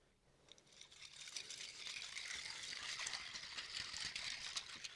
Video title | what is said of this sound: ASMR 1 Year Special 🎉🥳 My favourite triggers 😂 Scratching 😮 Tapping 👈 PERFECT SOUNDS 😴 Part 1 | Lego in water it's quite a quiet and subtle sound